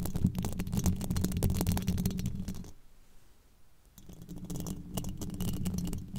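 Very long, pointed black nails scratch and tap across the hollow, domed steel mesh grille of a microphone, making a dense run of rapid, boomy, low-pitched scrapes and taps with faint bright crackle. The sound fades to near silence for about a second in the middle, then the scratching and tapping resume.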